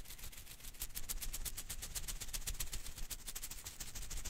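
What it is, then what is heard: Rubber Koosh ball. A hand-sized blue and green rubber-filament Koosh ball is held in one hand while the fingers quickly flick and rub its strands. The result is a rapid, uneven stream of bright, dry crackling flicks over a steady low rumble.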